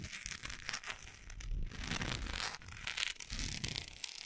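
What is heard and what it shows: Long acrylic nails scratch and tap along the side of a large solid orange wax pillar candle with a speckled surface. The result is a dense, continuous crinkly scratching with bright, hissy texture over soft low thumps, with short, dry taps that do not ring.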